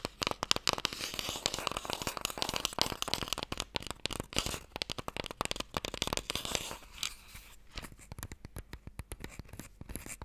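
Long nails tap and scratch the face and edge of a closed, small, long, hollow wooden Mikado box. Rapid, bright, dry clicks and taps mix with a dense, rasping scratch that fills the first half. After about seven seconds the scratching drops away, leaving sparser, sharper taps.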